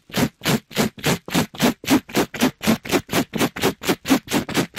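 A gloved hand scratches and rubs a soft, pink glittery mesh scrub sponge against a microphone grille. It makes a steady run of rough, fast, separate scraping strokes, about four per second. Each stroke is a short, bright, rustling burst with a low body and no ring.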